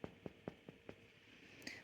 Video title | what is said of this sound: Delicious sourdough hot cross buns, you'll never want to buy shop bought again! | It's not quite sounding hollow yet